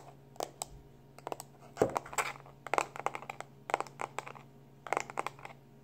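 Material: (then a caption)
Plastic. A small black plastic external hard drive, held in both hands, has its labeled back tapped and scratched quickly with fingertips and short nails. Bursts of sharp, dry plastic clicks and brief scratchy rustles come in uneven clusters, each dying away almost instantly. A faint steady low hum runs underneath.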